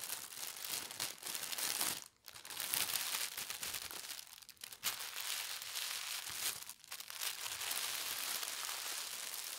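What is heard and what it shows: Fingertips with long red nails press and rub a large, thin sheet of white tissue paper printed with gold stars, smoothing it flat on a fabric tablecloth. The result is a steady, bright crinkling rustle with almost no low end, broken by brief quiet gaps near 2, 4.5 and 6.7 seconds before the rubbing resumes.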